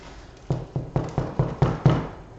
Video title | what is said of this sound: Grandma's Irish Soda Bread | knock on it it sounded hollow and so it is ready